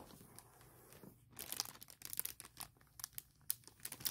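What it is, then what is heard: Plastic packaging bag. Long nails scratch and fingertips rub the crinkly surface of a clear plastic Mosiso packaging bag lying flat with the case inside. After a quiet first second, bright crackling crinkles and sharp scratchy bursts come in quick irregular clusters with almost no low end.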